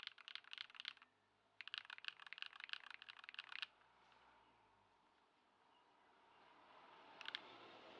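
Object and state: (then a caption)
Plastic mechanical keyboard being typed on. A compact white Ducky One 2 SF mechanical keyboard with plastic keycaps, modded with Poron foam and swapped to Lumia Matcha switches, is typed on by the fingertips of both hands on a wooden desk. Two quick bursts of bright, short, crisp clacks fill the first few seconds, followed by a quiet stretch of faint hiss. A final brief pair of keystrokes lands near the end.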